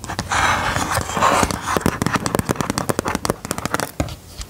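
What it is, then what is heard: Plastic LCD writing tablet. Long gold metal filigree nail claws scratch and tap a handheld white plastic LCD drawing tablet with a dark screen, working across both the screen and its frame. About a second and a half of dense, hissy scratching gives way to a rapid run of short, sharp plastic clicks that stop almost instantly.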